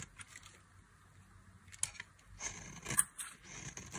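A thin metal knife cuts and scrapes thin slices and flakes from a solid, palm-sized bar of dry pink soap held in the hand. Quiet, crisp crunching and scraping fill the clip, with bright, hissy texture and a few sharper cracks around the middle and just before the end.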